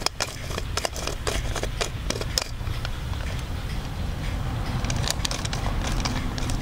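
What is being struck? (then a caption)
Hard plastic doll head with eye mechanism. Fingers work the eye mechanism of an orange-haired Blythe doll's hard plastic head held close to the mic, producing sharp, bright clicks. The clicks come in quick clusters early on and again near the end, over a steady low rumble.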